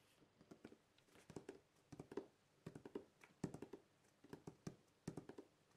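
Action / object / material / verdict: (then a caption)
tap / corrugated cardboard box / cardboard / none. Fingertips of both hands tap and scratch the top of a large, flat, closed corrugated cardboard shipping box printed with the RODE logo, lying on a wooden table with its contents inside. The result is quick, dry, hollow taps in irregular clusters, each dying away almost at once, with a low papery thud and faint bright scratchy edges.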